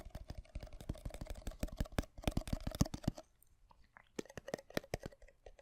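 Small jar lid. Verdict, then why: Hollow. Fingertips tap rapidly on the middle of the lid of a small jar of minced garlic, making a hollow, almost drum-like sound with short, low-pitched knocks. A dense run of taps lasts about three seconds, then a brief pause, then a sparser burst of taps.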